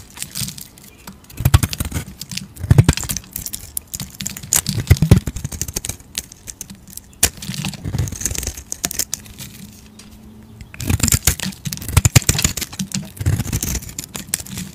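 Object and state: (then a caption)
Bar soap being carved. A utility knife blade scrapes and carves flakes off a solid rectangular white soap bar with gold paint remnants, held in the fingers. Crisp, dry scraping and crumbly shaving strokes come in bursts of rapid, bright strokes separated by quieter pauses.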